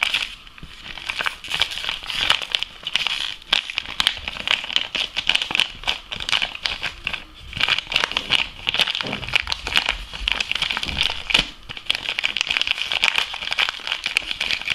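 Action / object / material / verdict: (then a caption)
shake / foil laminate coffee bag / foil laminate / none. An empty Lavazza foil laminate coffee bag is crumpled and crinkled by both hands. It makes a dense, continuous stream of bright, sharp crackles and crinkles, concentrated around 3 kHz with almost no low end. The level swells and dips briefly throughout the 15 seconds.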